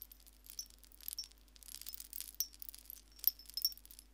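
A hanging wind chime made of many small white shells on strings is held up by one hand while fingertips and nails touch and jostle the shells. The shells clink together in quiet, irregular clusters of bright, dry taps and tinkles that die away almost instantly, over a faint steady low hum.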